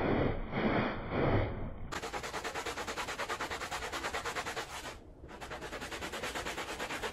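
A handheld blue plastic bristle brush scrubs the pile of a small, wet, soapy Persian-style woven pile rug. A few slow, broad, wet swishes give way to fast, steady, rhythmic scratchy strokes with a bright bristly hiss. The scrubbing briefly dips near the five-second mark before picking back up.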